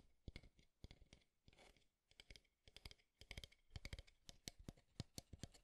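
Fingertips and nails tap along the frame of a small, square, light-wood alarm clock held in both hands. The result is a quick, irregular series of dry, clicky taps with very short ring, plus a brief softer scratchy stretch near the middle.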